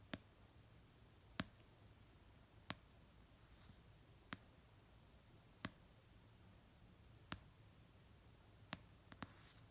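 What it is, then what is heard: Paperback book. Fingernails tap slowly on the cover of an orange paperback novel resting on a blanket. Nine short, dry clicks come at spaced intervals, the last few closer together, each dying away almost at once over a quiet, low background hum.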